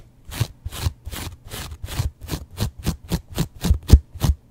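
A yellow foam kitchen sponge with a scouring pad, held close to the microphone, is scratched with a razor blade in repeated short strokes. Each stroke is a dry, raspy scrape with a low thumping body and faint bright hiss, the strokes growing quicker and more clipped toward the end.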